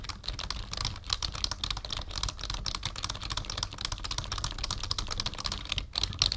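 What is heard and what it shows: Fingertips of both hands type steadily on a black, full-size plastic membrane keyboard with a numpad, resting on a wooden desk. The result is a dense, continuous run of quick, soft, clacky taps with a bright click on top and a low thud underneath. Each key strike dies away almost instantly.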